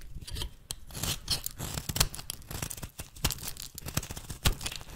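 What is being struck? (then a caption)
Bar of soap cut with a metal blade. A metal blade shaves brittle chunks off a rancid, solid golden-brown bar of soap with an embossed logo, held in the hand. A steady run of short, dry scraping and crackling cuts comes through with bright, crisp detail, and a few sharper snaps stand out above a low rumbling base.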